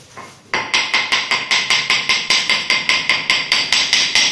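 A mallet strikes wood-look porcelain floor tiles (1.20 x 0.20) laid with tile levelers, testing for hollow spots with twenty steady, bright, sharp taps at an even pace. Each tap has a short ring around 2 kHz with no low boom. The floor sounds solid, not hollow.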